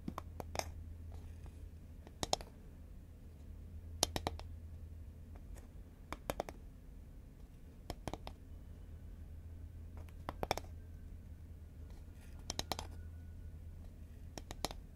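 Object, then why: Composite cardboard snack can. Long nails tap and click on a hollow green Pringles can, a composite cardboard tube lying horizontally. Short, sharp clicks come in quick clusters every couple of seconds, dry with no ring, over a steady low hum.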